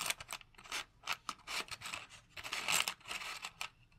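Fingertips and nails tap rapidly on the flat side of a small, hollow, purple cardboard box of candle matches held in the hand. The result is a quick, uneven run of dry, papery clicks and light scratches, bright and thin with almost no low end. Each tap dies away almost at once.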